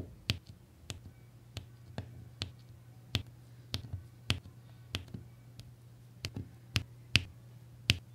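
A plastic applicator pen taps and presses small solid resin diamond painting drills onto a red, blue and beige section of adhesive canvas. Sharp, bright, very short clicks land at an irregular pace over a steady low hum.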